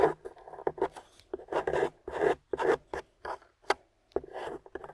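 A small metal spatula with a wooden handle, held in a hand with long pink nails, scrapes and carves the dry, chalky beige clay/plaster crust on a wedge-shaped translucent yellow glycerin soap bar lying on a white surface. The result is a series of short, dry, crunchy scrapes and rasps, separated by brief quiet gaps. The crust comes away as a pile of shavings.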